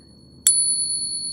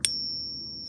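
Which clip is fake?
The second.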